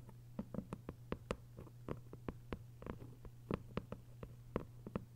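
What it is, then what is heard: Hardcover paper book. Long white nails scratch and tap on the paper dust jacket covering a thick hardcover novel. About nineteen quick, dry clicks with no ring sound over a steady low hum.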